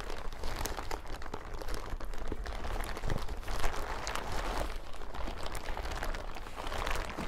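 A thin, crinkly yellow plastic hazmat suit is bunched on a table, then lifted and crumpled and scrunched by hands and fingertips. Dense, continuous crinkling and crackling with sharp, quickly fading snaps rides over a steady low rumble at a moderate level throughout.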